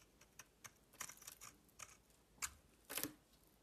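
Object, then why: Bar of soap shaved with a blade. A metal utility knife blade shaves and scrapes curls off a palm-sized, solid red-coated bar soap with a white interior, held in the hand. About ten short, crisp scraping strokes come at an irregular pace, bright and airy, with little low end. Each one dies away almost at once, with a louder, longer scrape near the end.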